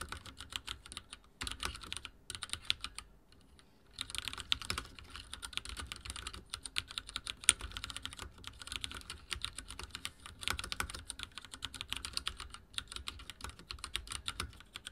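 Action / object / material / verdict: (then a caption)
tap / plastic mechanical keyboard / plastic / none. Rapid typing taps from the fingertips of both hands on a full-size backlit mechanical keyboard with dark plastic keycaps and linear switches, set on a wooden desk. The keystrokes are dense, short, bright clacks with almost no ring and a light low thump under them, with a brief pause just before the four-second mark before the typing resumes steadily.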